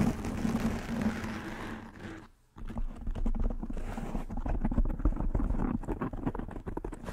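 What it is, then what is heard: Foam microphone windscreen. Fingernails scratch and tap on a soft black foam windscreen covering a microphone head. A muffled, low, rumbling scratch runs for about two seconds, drops to near silence, then turns into a quick, uneven flurry of dull, boomy taps and rubs. Little high end comes through.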